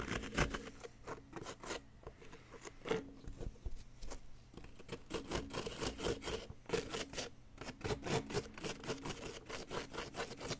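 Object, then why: Plaster block scraped with a wooden pick. A wooden pick scrapes and picks at a solid yellow plaster block around an embedded bar, making a steady run of short, gritty scratching strokes. Each dry rasp stops almost at once, over a faint low hum in the background.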